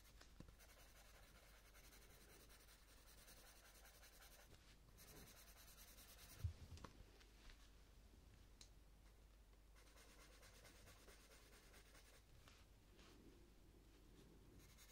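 A purple coloured pencil shades the petal edge on a paper colouring book page with light rubbing strokes. Quiet, continuous scratchy strokes come in broad bursts, with a few brief louder taps near the middle.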